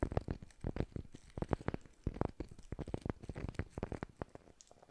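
Fingers tap a wooden surface as an ASMR trigger, picked up close by a Maono DM30 RGB gaming microphone. A quick, uneven run of soft, dull taps comes through, each a short low thud with almost no ring. The taps vary in strength over a quiet background.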